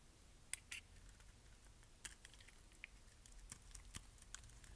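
A metal blade scrapes thin flakes off the surface of a solid pink bar of dry soap. The result is quiet, dry, crisp clicks and crackles over a low rumbling background, with sharp bright ticks scattered irregularly throughout.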